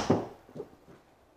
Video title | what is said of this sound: CALLAWAY PARADYM DRIVER - REVIEW | really solid sounding actually much more solid than I had thought it was going to be when I heard that it was all carbon in the body of the club